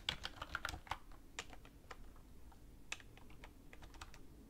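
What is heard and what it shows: Fingertips with long red nails type continuously on a black plastic computer keyboard resting on a wooden desk. Sharp, bright key taps come in an uneven, quick rhythm, each click dying away almost at once over a faint low background hum.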